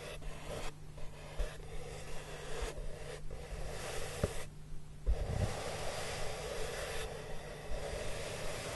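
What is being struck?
Corrugated cardboard box.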